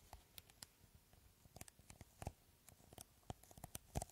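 Fingertips and nails scratch the green beaded coating on top of a clear, hollow, hand-sized plastic bottle. The result is quiet, irregular clicking and crackling taps over a soft scratching bed, with brief hollow thumps low down and bright ticks up high.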